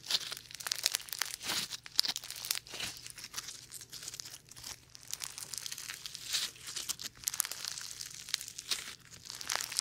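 Foam bead slime is folded, pressed and stretched by bare fingers close to a dummy-ear microphone without touching it. Dense, bright crackling and crinkling pops come in continuous overlapping bursts, almost all high-frequency with no low end.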